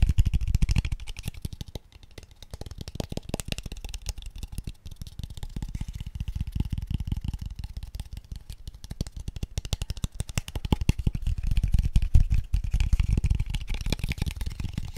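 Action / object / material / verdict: tap / small wooden square tube / wood / none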